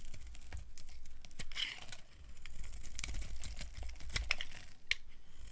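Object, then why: Bar of soap. A solid tan bar of dry soap is held in the hand while its edges are shaved with a small blade, producing crunchy flakes. The clip is full of dense, dry, crisp scraping and crackling clicks with bright, sharp transients over a low, steady rumble.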